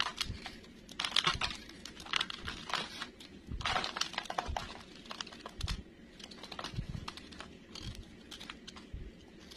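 A solid green bar of soap held in the hand is shaved and scraped with a metal knife blade, with curls of soap piling up. Dry, crisp scraping and crinkling strokes come in quick, uneven bursts, bright and papery with a faint low thud under some strokes.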